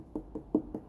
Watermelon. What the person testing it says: it's definitely got a good thump to it that sounds Hollow